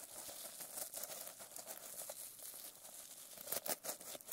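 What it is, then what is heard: Sequin-covered notebook. Long nails scratch the plastic sequin cover of a notebook resting on a lap. The result is a quiet, steady, bright crinkling and rasping texture, with a few sharper, louder strokes near the end.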